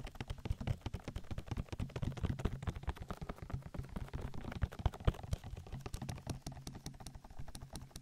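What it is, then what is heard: Silicone ear of binaural microphone. Fingertips rapidly tap and rub an oily silicone ear of a binaural microphone while both hands cup it. A dense, continuous stream of quick, dry, muffled taps and slick rubbing sounds. The taps are heavy in low thumping tones with almost no bright content.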